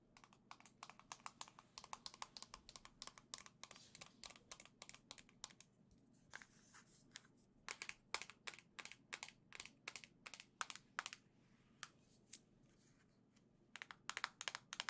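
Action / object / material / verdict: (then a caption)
tap / small plastic game controller / plastic / none. A single small gold and green plastic Joy-Con controller is tapped and scratched with long nails. Quick, dry, bright clicks come in rapid runs, with a softer scratchy stretch in the middle. Each tap dies away almost instantly over a faint, steady low hum.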